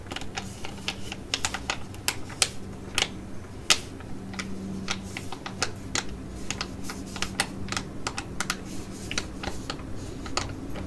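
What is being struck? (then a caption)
Laminated plastic foil pouch with soft filling. A flat Cosmetea T5 sheet mask pouch of thin laminated plastic, filled with a soft mask, is held in both hands and tapped and scratched with long acrylic nails. Quick, sharp, bright clicks and taps patter unevenly over a soft crinkly rustle and a steady low hum, each tap dying away almost instantly.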